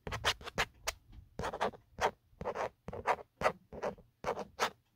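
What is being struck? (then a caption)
Hard plastic phone case. A fingertip and nail scratch the grainy, textured hard plastic back of an empty black Otterbox phone case. A quick series of short, dry scratching strokes comes in separate bursts, each a bright rasp with little low end. The scratching is close and quiet, with brief gaps of silence between strokes.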